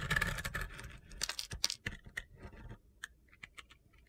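A utility knife blade scrapes strips off the surface of a solid rectangular glitter soap bar, pink on top with black-green glitter below, held in hand. A dense, gritty scraping crunch opens the clip, then gives way to separate crisp, bright scrapes and ticks that grow quieter and sparser toward the end.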